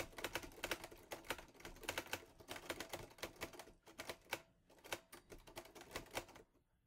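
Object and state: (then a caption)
Metal portable typewriter. Fingertips type on the keys of a teal metal portable Olivetti Lettera 22 typewriter. A quick, uneven run of short, bright metallic clacks, each snapping off almost at once, plays over a faint low rumble. The typing continues for about six seconds before stopping into near silence.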